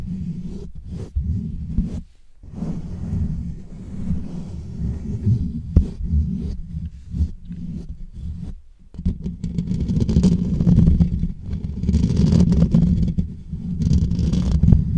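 Fingertips and short nails from both hands scratch and rub over the rounded, hollow metal mesh grille of a black USB microphone. The result is a dense, muffled, low rumbling scrape with soft thumping pulses, sitting mostly below 200 Hz, with brief quiet gaps near 2 and 8.5 seconds. It grows slightly louder and brighter toward the end, and no voice is heard.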